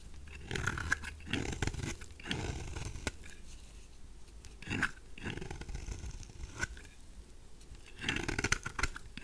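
A mauve, solid rectangular bar of dry soap is held in the hand while a knife blade scrapes shavings off its surfaces. Bursts of rough, crunchy scraping rise and fade, carrying low rumble and bright edges, with a few sharp clicks in between.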